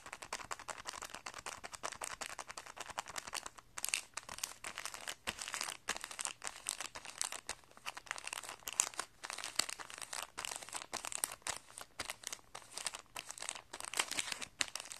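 Fingertips tap and crinkle a clear plastic packet of guitar strings holding a printed paper card with colored note circles. Dense, bright crackling and rustling runs throughout with almost no low end, each tap dying away instantly.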